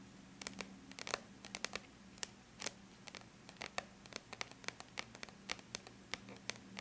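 Long bare natural nail tips tap and lightly scratch the flat silver-gray surface of an aluminum laptop lid. About 34 quick, bright clicks in an irregular rhythm die away almost instantly, with faint scratching between them. A soft, steady low hum runs underneath.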